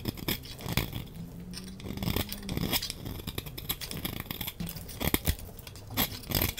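A hand-sized, solid green translucent glycerin soap bar, dry, is held in one hand while a utility knife blade shaves thin flakes off its surface. The result is a rapid series of crisp scraping and cutting strokes with a bright, gritty hiss and soft low thumps, some strokes louder and sharper than others.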